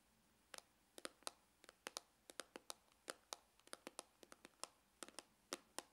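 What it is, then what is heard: Faux leather hard glasses case. Fingernails scratch and tap along the side of a dark, textured faux-leather glasses case with a hollow hard shell, working near its opening seam. About two dozen short, dry, bright clicks come in uneven bursts, each dying away almost instantly over a quiet background.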